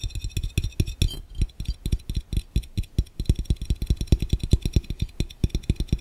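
Fingertips tap rapidly and irregularly on a clear, round, hollow and empty glass fishbowl placed over a camera lens. About 39 short, dull, low thuds come in quick succession, each with a faint bright tick on top. Every tap dies away almost instantly.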